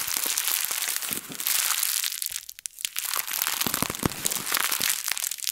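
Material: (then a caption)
Plastic. A thin printed plastic bag is balled up, squeezed and crushed in both hands with long nails. It makes a dense, bright crinkling full of sharp crackles, with a brief quieter lull midway before the crumpling picks up again.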